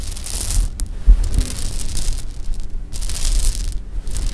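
A pile of small, solid sugar-coated jelly beans on fabric is gathered and shaken with both hands, then dropped from a cupped hand. Two bursts of bright, gritty rattling are separated by quieter rustling and a couple of soft, dull thumps, all over a steady low rumble.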